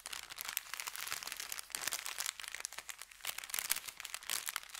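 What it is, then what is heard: Paper bakery bag. An empty, folded, thin kraft paper bakery bag lies flat while fingertips press and rub it. The result is continuous, dense, bright crinkling and crunching with crisp high-pitched rustles and almost no low end.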